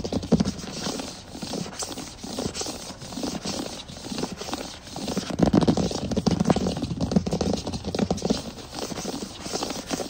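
Both hands tap fast with the fingertips and scratch with the nails across a large solid wood plank floor. The result is a dense, continuous patter of short, dry knocks with a woody low-mid body, mixed with rough scratching. It swells louder and fuller from about halfway through.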